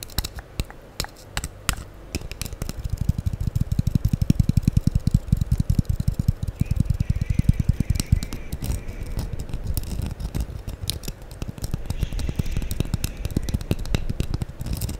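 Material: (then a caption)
Foam. A solid, light-blue porous foam sponge block, held in one hand close to the microphone, is scratched and tapped with the long acrylic nails of the other hand while a makeup brush lies unused on the table. The result is a dense, rapid stream of soft, dull, low thumps and scratchy rustles. Each is very short and dry, with almost no bright content.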